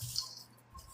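Puffed, fried rice stick noodles for a noodle salad are handled, giving a dry, bright rattling crunch in two bursts, the first louder. The sound is mostly high-pitched with little low end and dies away quickly, showing the noodles are crispy.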